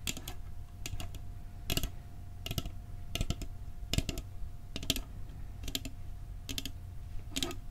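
A metal cookie tin is tapped with quick, light clicking taps in small clusters, each dying away almost at once. A faint steady tone near 700 Hz hums underneath, and a low rumble fills the background.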